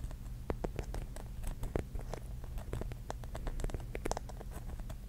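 Long nails tap quickly on the glass tiles of a pink mirror-mosaic mushroom cap, making a fast patter of short, sharp clicks. The taps are quiet and die away almost instantly over a steady low hum.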